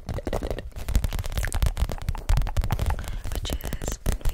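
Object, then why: PVC zip pouch. An empty clear PVC zip pouch held beside the mic is tapped and scratched with long nails. Dense, close-up crinkling taps and scratches come in quick, uneven bursts, with a heavy low thump beneath the bright plastic crackle.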